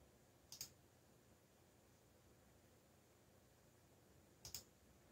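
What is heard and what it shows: Fingertips press keys on a backlit mechanical computer keyboard with black plastic keycaps, making four bright, short clicks in two quick pairs, one near the start and one near the end. A faint steady hiss fills the quiet gap between them.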